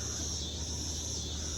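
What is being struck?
Nothing is struck.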